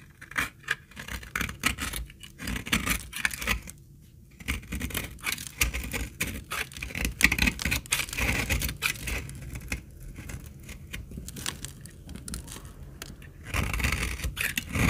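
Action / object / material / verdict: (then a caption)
scrape / laundry soap bar / soap / none. A hand with long nails holds a solid, dark brown bar of old, dried laundry soap while a utility-knife blade shaves curls off its edge. Dense, crisp scraping and shaving strokes crackle with a bright edge over soft low thuds, with a brief quiet pause near the four-second mark. The shaving grows louder and rougher toward the end.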